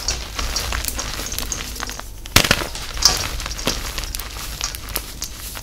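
Soft, crumbly pink dyed gym chalk, made of reformed pieces and powder, fills a metal tin bowl and is squeezed and crushed by both hands with long acrylic nails, using fingers and palms. Dense, bright crackling and crunching crumbles on through the clip, with sharper snaps near 2.4 and 3 seconds. The solid pieces break down into powder.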